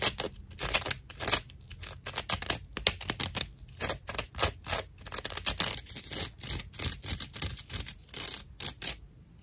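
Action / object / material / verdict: scrape / dry natural loofah sponge / plant fibre / none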